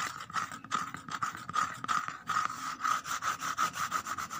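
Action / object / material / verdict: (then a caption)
scrape / corrugated cardboard box / cardboard / none. Several fingernails rapidly scratch and tap the bottom and inner edge inside an empty corrugated cardboard box. The result is a quick, uneven series of dry, papery scratches and light taps, each carrying a hollow midrange tone near 1.3 kHz with a brief bright rasp above it.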